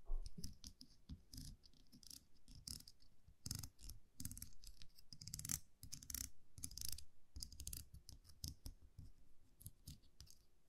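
A small metal champagne cork cage, a wire muselet with a round metal cap, is held in the fingers and tapped and scratched with long manicured nails. Quiet, irregular bursts of crisp, bright scratching and clicking ride over soft, low thuds from the handling. Each tap dies away almost instantly, leaving a faint low hum between bursts.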